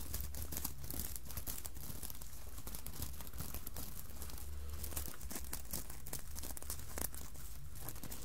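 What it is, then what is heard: Sequined fabric Santa hat. Long nails scratch and tap across the sequins of a red sequined Santa hat lying on a table. The result is a steady, dense crinkling and rasping texture with quick clicks, over a constant low hum.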